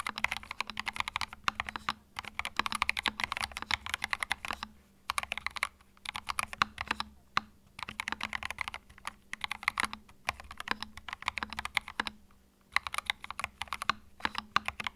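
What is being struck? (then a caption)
Mechanical keyboard with plastic keycaps. A compact white Epomaker TH66 mechanical keyboard with cream plastic retro keycaps, resting on a felt desk mat, is typed on rapidly with the fingertips of both hands. Bursts of crisp, bright, clacky key presses come in quick runs separated by short pauses, with each click dying away almost instantly and a faint steady hum underneath.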